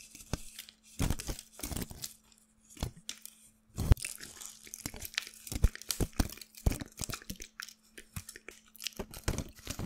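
A small bunch of thin, light, flexible white handwritten paper scraps is held close to the microphone and crumpled and rubbed between the fingertips of one hand, then both hands. Bursts of sharp, bright crinkling and tearing-like rustles come in uneven clusters with short quiet gaps, over a faint steady low hum.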